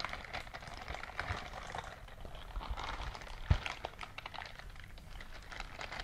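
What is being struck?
Silicone scrubbing glove.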